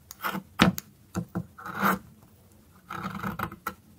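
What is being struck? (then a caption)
Bar of soap. A metal blade scrapes the tip of a narrow, solid orange dry soap stick, held upright and then sideways among shavings. The clip has dry, rasping scrapes in short bursts and a few longer strokes, with a low-mid body and a bright crackle, and no ring after each stroke.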